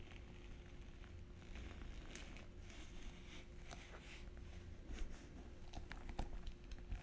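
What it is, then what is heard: Glitter fabric clutch purse. A small hollow silver glitter-textured fabric clutch purse with metal frame trim is held up and tapped and scratched with long painted nails. Soft, quiet taps and scratchy crackling patter sit over a steady low hum, with brighter clicks growing slightly louder toward the end.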